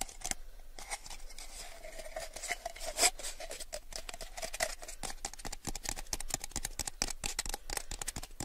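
A small, clear, empty, hollow plastic cup held in both hands is tapped with fingertips and nails around its sides. Rapid, crisp clicking taps with bright, high plastic ticks follow in a steady, dense patter. A faint resonant tone rings near 650 Hz through the first half.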